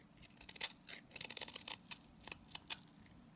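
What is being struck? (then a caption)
Salt scrub soap bar. A box-cutter blade repeatedly scrapes and shaves the surface of a green, palm-sized solid salt scrub soap bar, leaving crumbly shavings. The result is a run of short, dry, crisp scraping strokes that are bright and gritty, with almost no low end and no ring after each stroke.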